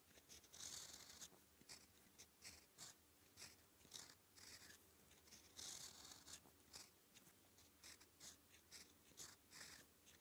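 A gold-toned fountain pen nib, held in the fingertips, scratches purple-ink letters onto a thin sheet of red-grid manuscript paper lying flat. Quiet, bright, papery scratches come in a steady run of short strokes, with a few longer, louder sweeps between them.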